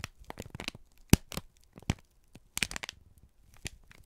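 A wrinkled brown kraft paper strip is squeezed and crinkled by both hands, giving quick, dry crackles and crisp crunches that reach up into the bright highs. The crackles come in short irregular bursts with quiet gaps between them. The sharpest snaps are near the 1 s mark and around 2.6 s, and each dies away almost at once.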